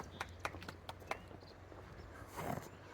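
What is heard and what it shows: While hiking, a pistol carried appendix-style in an inside-the-waistband holster is knocked on five times, each knock short, dry and hollow like a clip-clop. A softer rustling swell follows near the end.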